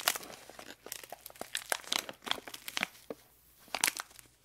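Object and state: Plastic candy wrapper.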